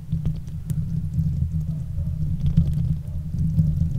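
Long acrylic nails on both hands scratch the hollow steel mesh grille of a silver Blue Yeti microphone. The scratching comes through as a steady, dense low rumble and throbbing, with faint bright ticks scattered on top.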